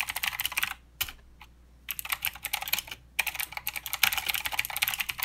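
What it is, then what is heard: Mechanical keyboard with plastic keycaps. Fingertip typing with both hands on a mechanical keyboard with plastic keycaps and clicky blue switches. Bright, sharp clicks come in quick bursts, with short pauses near one and three seconds. Each click is crisp and dies away almost at once.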